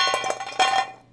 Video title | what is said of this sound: Irresistible Chocolate Bread Pudding | that sounds like wooden blocks in there they are really hard